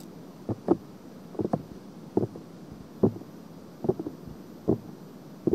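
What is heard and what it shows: Long painted nails scratch the surface and rim of a binaural microphone's silicone ear. About eleven short, dry scratching strokes come in loose, irregular clusters, each a soft low-mid rasp that stops almost instantly over a quiet steady hiss.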